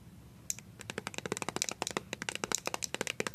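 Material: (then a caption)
Plastic. A filled, small white plastic BB cream squeeze tube is rubbed and scratched with fingertips and paper-clip nails. After a brief quiet start, about two dozen quick, dry, bright clicks and scrapes follow in a rapid, uneven patter, each dying away almost instantly.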